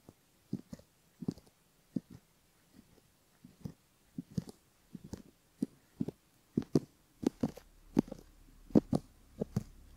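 A bamboo ear pick scratches gently over the outer ear and the skin around a silicone left ear model resting on a base. The result is a quiet series of short, dry scratching strokes with a soft low body and faint bright edges, coming in small clusters that grow a little louder toward the end.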